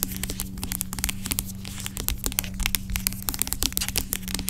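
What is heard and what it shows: Long acrylic nails tap and scratch the sides of a large, dark plastic pump bottle of aloe vera gel lying on its side; the bottle seems hollow and filled with gel. Quick, bright clicks and crinkly scratching patter unevenly throughout, each tap dying away almost instantly, over a steady low hum.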